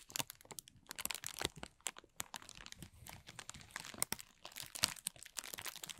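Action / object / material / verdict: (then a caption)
scrape / thin plastic film bag / plastic film / none. A thin, clear plastic film bag is balled up and crumpled in both hands. It makes a dense run of crisp, bright crinkling and sharp crackles with very little low end. The crackles come in quick irregular bursts that stop dead, with no ring after them.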